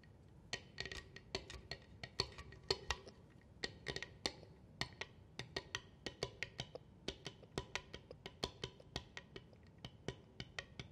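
Long nails tap and scratch along the face and edge of a solid wooden cheeseboard held upright, with rings possibly touching it up close. Dozens of short, dry wood-block-like knocks with a hollow tone and bright clicky tops come in an uneven rhythmic run, each dying almost instantly over faint scratching.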